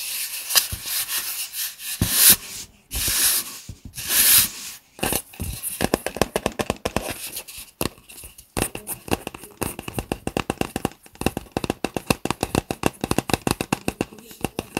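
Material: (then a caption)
Plastic. A tall, hollow, apparently empty white Starbucks reusable plastic cup with a lid is held in both hands while fingers rub and tap its sides. The first few seconds bring swishing, broadband rubbing bursts, followed by dozens of quick, dry, hollow plastic taps with almost no ring.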